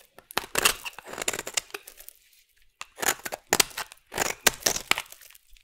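A solid orange bar soap is shaved into curls with a metal blade, with a different small metal tool used briefly partway through. Dry, crisp scraping and crackling strokes come in bright bursts, separated by short quiet pauses.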